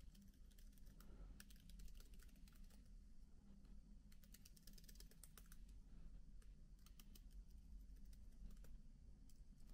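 Steady typing on a MacBook keyboard with black plastic keycaps as both hands press the keys with their fingertips. It makes soft, quick, bright clicks over a low, constant hum.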